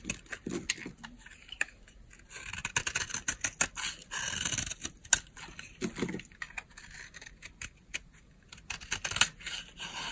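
A utility knife blade carves and scrapes a solid, palm-sized oval bar of dry pink soap held in the palm. It makes bright, crisp scraping and crackling strokes in quick irregular bursts, with short pauses between them. Each stroke dies away at once, with no ring.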